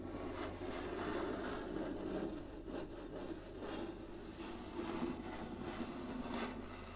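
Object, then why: Inlaid wooden chessboard. Long nails tap and scratch across the surface of a large, flat, inlaid wooden chessboard. The result is a steady, soft rubbing and scraping texture with a low-mid warmth and only faint high detail, and few distinct taps stand out.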